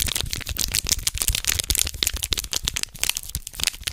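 A small red foil condom wrapper is held between both hands in front of a microphone while the fingertips crinkle it. The result is dense, bright crinkling, with rapid sharp crackles over a faint low rumble throughout.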